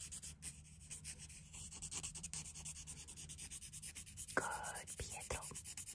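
A palm-sized, solid, smooth grey river stone with painted eyes and a smile is held in the hand while its surface is scratched and rubbed with the pointed tip of a wooden stick. Quiet, dry, rapid scratching runs throughout over a faint low hum. A brighter scrape stands out near the end, followed by a couple of sharper strokes.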